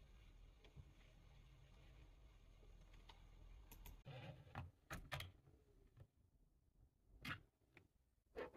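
Fingertips type on a full-size black plastic computer keyboard. A steady low hum and faint soft taps fill the first half. Then sharp, bright plastic clicks stand out apart from one another over a quieter background.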